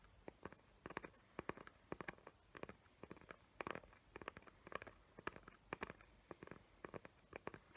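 Long nails tap and scratch the lid of a small square cardboard gift box covered in glitter paper and decorated with hot-glue trees. The result is a quiet stream of short, dry, clicky taps, often in quick clusters, with a faint scratchy rustle between them.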